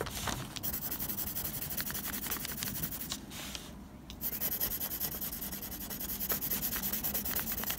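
A blue mechanical pencil tip rubs and scratches quick hatching strokes across a flat sheet of textured drawing paper, making a dense, bright, papery scratching. The strokes go quiet for a brief pause just past the middle, then resume at full texture to the end.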